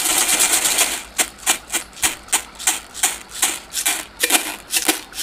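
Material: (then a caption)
Plastic. A small, hollow, empty white disposable plastic cup held close to the microphone is tapped and scratched with fingers and nails. A second of dense, bright scratching gives way to a steady run of separate, crisp taps, each short and high with a dry hollow click and almost no low end.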